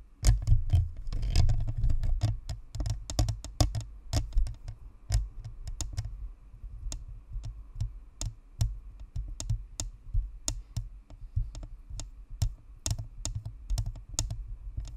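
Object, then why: Plastic microphone shell with metal grille. Long nails tap and flutter across the top and sides of a white spherical Blue Snowball microphone, a hollow plastic shell with a perforated metal grille. A dense, rapid flurry of clicks in the first couple of seconds gives way to sparser, sharp ticks. Each tick has a short, deep hollow thump beneath a bright click edge.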